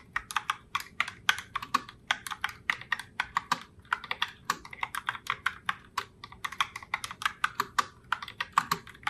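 Fingertips with long nails type continuously on a pink Logitech Pop Keys mechanical keyboard with round plastic keycaps. The result is a fast, steady stream of sharp, bright plastic clacks with almost no low end, each tap dying away almost instantly.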